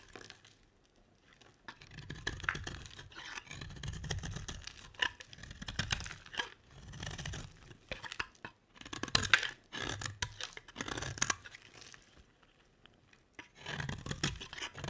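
A metal utility blade scrapes a solid oval yellow bar of soap, peeling off thin shavings. It makes a series of dry, bright scraping strokes with a soft low rasp under each one and brief quiet pauses between them.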